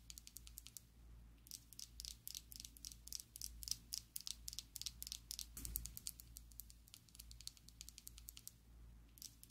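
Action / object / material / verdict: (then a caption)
tap / plastic lipstick tube / plastic / none. Long acrylic nails tap rapidly and irregularly on a slim pink and black plastic Essence liquid lipstick tube, hollow and filled, held above a table. The taps are bright, dry clicks with very short decay, coming in quick bursts with brief pauses over a low steady hum.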